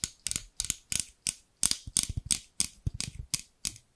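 Large scissors with translucent amber plastic handles and steel blades are tapped and scratched near the microphone by long pink nails. Fourteen short, bright clicking and scraping bursts come in an irregular, ratchet-like rhythm with little low end and almost no ring after each hit.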